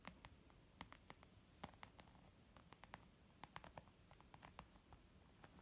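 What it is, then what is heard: Leather makeup bag being tapped. Tapping on a leather makeup bag produces a quiet, uneven patter of about twenty short, soft taps, each with a dull low body and a faint bright click that dies away almost instantly.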